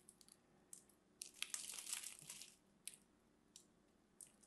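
A solid lavender-and-white striped bar of soap is held in the hand while scored cubes are cut off with a craft knife and fingernails. The result is a quiet, bright, crunchy crumbling: short crisp snaps, then a denser stretch of crackling in the middle, then a few more isolated crunches.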